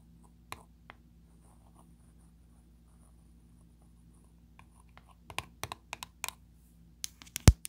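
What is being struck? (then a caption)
Small round metal tin lid tapped with fingernails. Long blue pointed nails tap and trace on the lid of a closed, small round 30 ml dark blue metal Nivea creme tin. Two isolated sharp clicks are followed by a long stretch of faint scratchy tracing. A denser run of short, dry taps then builds to the loudest tap near the end.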